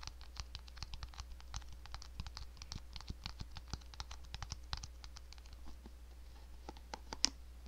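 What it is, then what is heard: Plastic paddle hairbrush. Long nails tap and scratch the hollow back and bristles of a hand-sized black plastic paddle hairbrush held close to the microphone. About two dozen quick, dry, bright clicks and scratchy taps come at an uneven pace over a steady low hum, with one sharper, louder tap near the end.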